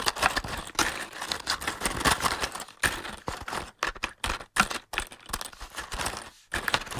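Fingertips and short nails tap and scratch on a large, closed, hollow cardboard matchbox. Quick, dry taps blend into a papery scratching rustle that is mostly bright with little low end. The sound comes in dense bursts separated by brief silent gaps.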